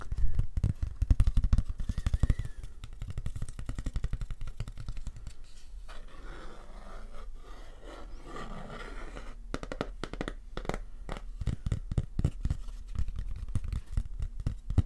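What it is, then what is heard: Cardboard-mounted antique photograph. Fingernails of medium length tap and scratch a hand-sized antique black-and-white photograph of a boat on a lake, mounted on thick grey cardboard and held flat in both hands. Rapid, dull, low taps with no ring start the clip, give way to a quieter stretch of soft scratching in the middle, then return as brisk tapping at the end.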